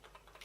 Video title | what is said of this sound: my photography lenses history | just rattles a bit when you shake it like that